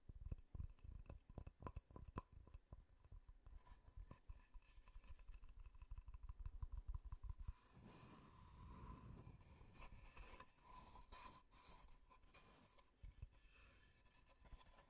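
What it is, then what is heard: Wooden tree-slice disc. Fingertips tap rapidly and unevenly on the face of a solid wooden tree-slice disc with growth rings, giving dull, low, close-up knocks for about the first seven seconds. Then the fingertips switch to scratching across the face, a softer, continuous rustling scrape broken by a few more taps. A faint steady tone near 1 kHz runs underneath throughout.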